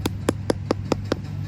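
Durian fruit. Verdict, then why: Nearly ripe. A Monthong durian, cut the day before, is knocked six times in an even rhythm with the handle of a knife to check its ripeness. Each knock is a short, dull, hollow tap pitched around 490 Hz that dies away almost instantly, over a steady low hum. The sound marks the fruit as close to ripe.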